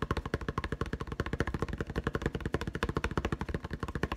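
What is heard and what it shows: Fingertips tap very fast on the clear plastic blister packaging over a yellow-green putty egg, producing a rapid, even stream of about 26 short, hollow plastic taps in four seconds. Each tap is a dull, low thump around 78 Hz with a faint crinkly click on top, dying away almost at once.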